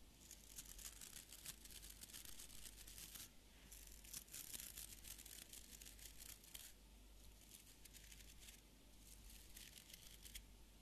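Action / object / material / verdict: scrape / small wooden beard brush with stiff fibre bristles / fibre bristles / none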